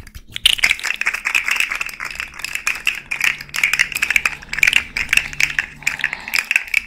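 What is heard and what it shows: Long nails run over and bend the joints of a small rainbow fidget slug toy made of hollow, jointed hard-plastic segments. It gives rapid, dry ratchet-like clicking, bright and crisp and centered around 2.4 kHz. The clicks come in quick bursts of dense, short taps with almost no ring.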